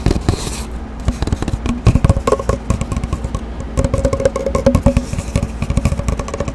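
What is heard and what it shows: Long dark-painted nails tap and scratch along an empty, hollow cardboard paper towel tube about 25 cm long, held horizontally. Quick, irregular tapping and scraping comes in dense flurries, with a dull, hollow low resonance and little high-end brightness. Each tap ends almost instantly.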